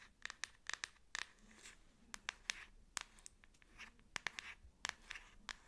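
Long acrylic nails tap and scratch a black plastic back case on a Samsung smartphone held and tilted in both hands. About sixteen sharp, bright clicks stand out over softer, hissy scratching strokes, each tap dying away almost instantly. The overall sound is quiet, light and crisp, with very little low end.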